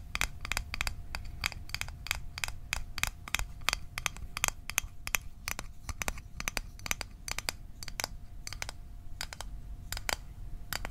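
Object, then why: Small metal mint tin. Fingernails tap quickly on a small, closed, hollow, rectangular metal Altoids mint tin held near the microphone. The result is a rapid run of sharp, bright, dry clicks that stop almost instantly, with a faint steady metallic tone near 700 Hz beneath them and a low rumble in the background.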